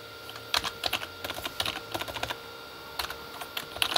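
Fingertips of both hands type on a full-size Corsair K35 backlit keyboard, with plastic keycaps on a hollow plastic body. The typing comes as quick, bright, clicky taps in uneven bursts that die away almost instantly, with a short pause midway. Under the taps runs a faint steady hum.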